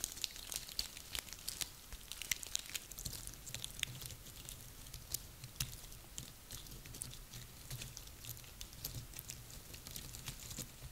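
Dry woody pine cones are held and squeezed in one hand, then scratched with long nails while they rest on a table. Their rough scales give a steady run of quiet, bright, dry crackles and clicks over a faint low hum.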